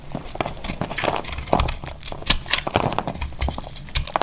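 A small knife carves crunchy flakes off a solid, dry, powdery orange soap bar held in the hand. A steady run of dry, crackling scrapes and sharp bright crunches comes through, mixed with soft low thumps. Each cut stops short with no ring.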